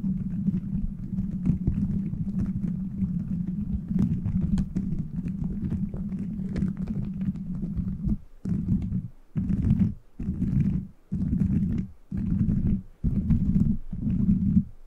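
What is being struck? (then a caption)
Plastic bead microphone cover. Fingers scratch and tap the beads of a plastic gummy-bear bead cover fitted over a microphone. The result is a dense, low, muffled crackling rustle that runs steadily for about eight seconds, then breaks into short bursts separated by brief near-silent gaps.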